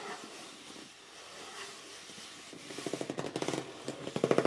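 A hollow red cardboard box is briefly held up, then laid flat while fingers grip its edges and short nails scratch its top. A soft, quiet rustle gives way to a rapid series of sharp, dry scratches that grow louder toward the end.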